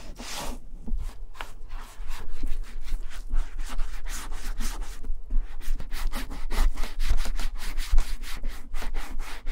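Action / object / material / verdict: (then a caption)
scrape / leather satchel bag / leather / none. A gloved hand rubs balm into the tan leather front pockets of a vintage German satchel bag with metal clasps. The result is a steady series of soft, breathy rubbing strokes with a bright, hissy texture over a low rumble.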